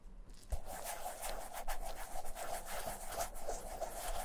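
Black nitrile-gloved fingertips lightly rub the heel and side of a vintage black leather Camper shoe. A soft, continuous brushing friction on the smooth leather is heard, with a faint low bump early on. The rubbing stays quiet and steady to the end.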